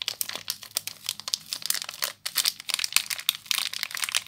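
Fingers and long nails crinkle the loose clear plastic wrap around a small soap bar with a crimped seal. Dense, bright crackles and sharp crinkles come in quick, uneven bursts, with a brief lull around the two-second mark. Each crackle stops almost instantly with no low-end body.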